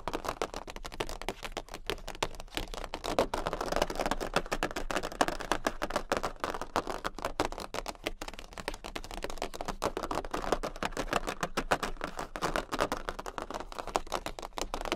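Long pink acrylic nails on both hands tap fast with their tips on a jumbo, thin, rigid, flat cardboard Queen of Hearts playing card. The result is a dense, continuous stream of short, dry, papery clicks centered in the midrange, holding a steady level for the whole clip.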